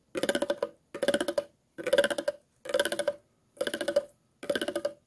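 A thin metal tool is scraped along the grooves of an empty, clear, hollow, ridged plastic water bottle. Six separate bursts of rapid, ratcheting clicks are heard, each about half a second long with a hollow tone near 500 Hz and a bright rasp, separated by short silences.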